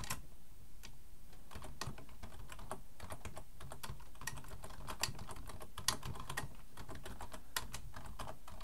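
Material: Plastic.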